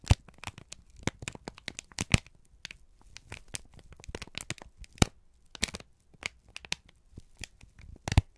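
A single thin, crumpled sheet of brown kraft paper is held in both hands and squeezed and crinkled with the fingertips and thumbs. It makes a dense run of sharp, crackling crinkles with quick broadband snaps reaching up bright. Each snap dies out almost instantly, with short quiet gaps between bursts.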